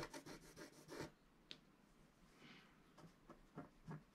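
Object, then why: Wax-coated scratch-art paper card scratched with a wooden stylus. A wooden stylus scratches across the upper right of a flat scratch-art card of black wax-coated paper while the other hand rests on the sheet. A quick run of short, dry scraping strokes opens the clip, followed by a quieter stretch broken by one sharp bright tick. A few more soft scratches close it out.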